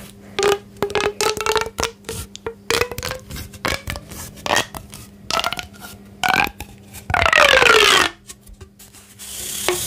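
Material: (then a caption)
Plastic. A thin, hollow pink corrugated plastic pop tube toy is held in both hands while fingertips and nails stretch, bend and rub along its ridges. The result is a quick, uneven string of bright pops and squeaky rubs, some with short tonal whistles that rise and fall. It ends in a longer rasping rub with a gliding squeal.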